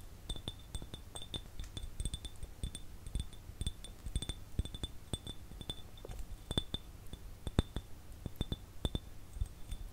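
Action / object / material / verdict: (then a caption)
tap / glass jar / glass / none. An empty, hand-sized, hollow clear glass jar with a threaded rim is tapped and scratched with fingertips and fingernails. The result is a rapid, steady run of many short, quiet clicks and taps, each ringing briefly with a high, bright glassy chime over a low, soft rumble.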